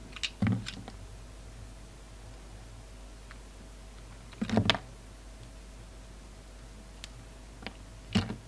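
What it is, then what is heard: Carved soap flower being cut. A utility knife blade cuts and scrapes pieces off the petals of a solid, palm-sized red poppy soap carving held in the hand. Short, crisp scraping and clicking bursts come in brief clusters near the start, the middle and the end, separated by long quiet stretches over a steady low hum. Each cut stops dry with almost no ring.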